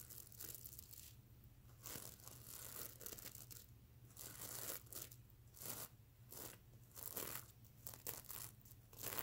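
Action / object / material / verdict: scrape / plush pillow covered in plastic sequins / plastic sequins / none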